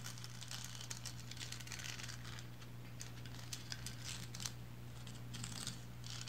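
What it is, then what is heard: Resin lighthouse figurine. Long blue fingernails on both hands scratch and tap the striped body of a small, upright, painted resin lighthouse figurine. The result is a continuous bright, crinkly scratching with scattered sharp little ticks, all over a steady low hum.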